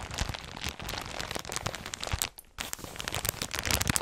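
A clear plastic polybag holding folded white knit clothing with a barcode label is held in both hands with long red nails and squeezed and crinkled close to the microphone. A dense stream of bright, crackling crinkles fills the clip, broken by a brief quiet pause just past the midpoint before the crinkling resumes. The crinkle sounds soft and full.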